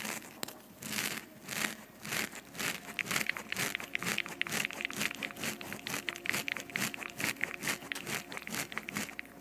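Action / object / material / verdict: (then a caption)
scrape / foam microphone windscreen / foam / none. Long fingernails on both hands scratch a soft, porous black foam windscreen covering a microphone head. The result is a rapid, uneven stream of bright, crinkly scratching bursts with almost no low end.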